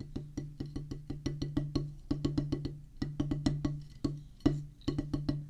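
A solid oval drum practice pad, with a black rubber top on a pressboard/wood base, is drummed with two wooden drumsticks. About 27 quick, dry strikes are heard in uneven groups. Each gives a low, woody knock pitched around 145 Hz that dies away almost at once.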